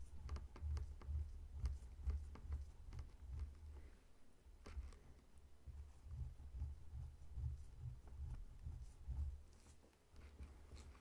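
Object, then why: Whole pineapple, scaly rind. Fingertips and short nails slowly tap and scratch the scaly rind of a whole, solid pineapple lying on a table. The result is a quiet, steady patter of soft, dull, low thumps with faint, bright, scratchy ticks over them.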